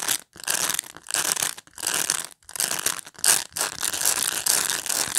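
Fingernails scratch through the bristles of a black plastic pet brush in repeated strokes. Each stroke gives a bright, dry, ratchet-like clicking, with brief silences between strokes and almost no low end.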